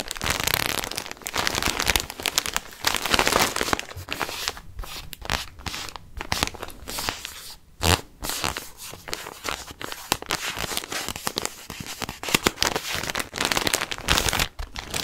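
Fingertips press and crinkle a clear plastic garment bag with a printed Chiquelle label, holding a white knit sweater, close to the microphone. Dense, bright crackling and crunching plastic rustle continues throughout in irregular bursts, with brief near-silent gaps.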